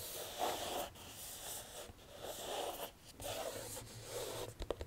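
A flat rectangular cardboard box for a Harry Potter house crests jigsaw puzzle, presumably full of puzzle pieces, is held up in one hand and scratched and tapped with long dark-painted nails. Soft, papery scratching strokes with a hollow low-mid body repeat in bursts about a second long, with brief quiet gaps between them. A few sharp, quick taps close the clip.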